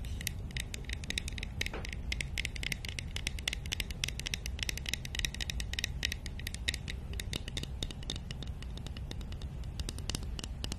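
Long nails scratch and tap rapidly across a small, hollow, painted and lacquered wooden nesting doll held in one hand. The result is a steady stream of crisp, bright clicks and scratchy rasps that die away almost instantly, over a constant low rumble.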